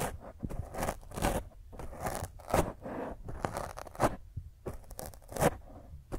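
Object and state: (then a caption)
Foam microphone windscreen being scratched. Fingernails scratch the top of a black foam microphone windscreen, making rough, crunchy scraping strokes in uneven bursts. The sound is dull and low-mid heavy, with sharp rasping peaks and quieter rustling in between.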